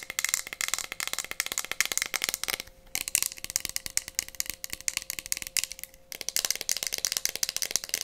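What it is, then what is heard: Glass cup tapped with fingernails. Long painted nails tap fast on a small, clear, empty glass cup with a printed decoration, held in both hands. The result is a dense stream of quick, bright clicking taps with a faint steady ring, briefly thinning out twice before picking back up.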